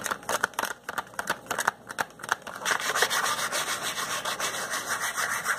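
Fingertips and nails rub and scratch the top flap and sides of a small, hollow yellow and green Crayola cardboard crayon box held in one hand. Short, dry, bright scratching strokes come in quick uneven bursts, then merge into a steadier, denser papery rubbing for the second half.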